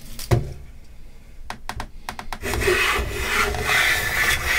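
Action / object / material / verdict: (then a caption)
scrape / pine plank planed with a metal hand plane / pine wood / none. A metal bench plane with wooden handles is pushed by both hands along the edge of a long solid pine plank clamped upright in a vise, scraping off curled shavings. A few quiet, sharp ticks come first, then a louder, steady, bright rasping scrape sets in and continues to the end.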